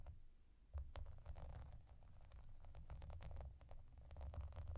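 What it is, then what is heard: Plastic bubble bath mat. Long dark nails tap and scratch across a clear, soft plastic bath mat covered in small raised hollow bubbles and yellow duck shapes. The result is a quiet, dense run of short dry clicks and scratchy taps over a low, rumbling bed.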